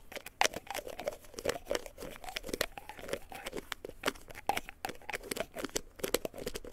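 Fingertips and nails scratch and tap the cap and body of a small white plastic pill bottle with a white cap, held in both hands. The result is a dense run of quick, dry clicks and crinkly scratching with a hollow mid-range tone and bright crackling edges. The taps stay close and quiet with no ring.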